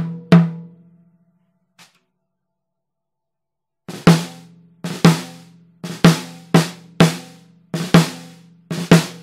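A Pearl Reference 14x6.5 snare drum with a 3 mm hollow brass shell and a white coated head is struck on the head with a wooden drumstick. After one loud opening hit and a faint tap, a run of sharp strokes follows, many preceded by a softer grace note. Each stroke gives a bright crack over a low tonal ring near 168 Hz that decays quickly.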